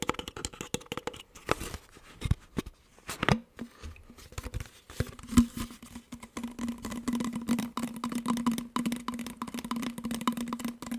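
An empty, hollow clear plastic water bottle with a blue cap is tapped and squeezed with fingertips, giving quick irregular taps mixed with crinkling, crackling plastic sounds. From about the third second, a steady low tone near 234 Hz runs underneath the busy clicking.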